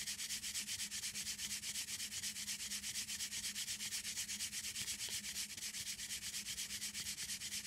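Long green acrylic nails rapidly scratch and rub back and forth across the front of a flat, printed paperboard chocolate box held up in the air. The result is a steady, rhythmic, bright scratchy hiss of about two strokes per second, over a faint low hum near 200 Hz.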